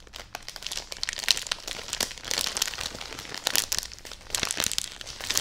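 Long nails tap, press and crinkle the plastic wrap on a full plastic-wrapped bedding package that is hugged and held up. The result is a steady run of bright, crisp crinkles and sharp little taps, almost all high in pitch with very little low end. Louder bursts of crinkling swell and fade throughout.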